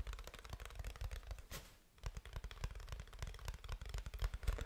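Fingertips tap on a black plastic computer keyboard, first on its keys and then on its flat, hollow plastic underside. The result is a rapid, uneven stream of short, dull, low-heavy clicks and taps. Around the middle there is a brief brighter rustle and a quiet pause before the tapping resumes.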